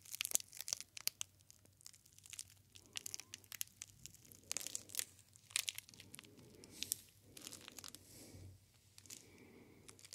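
A solid Silver Soap bar wrapped in clear plastic film with a paper label is tapped and scratched on the wrapper with the fingertips. The result is quiet, bright, crisp crinkling with sharp clicking taps and soft scratchy rustling bursts, all very high and with almost no low end.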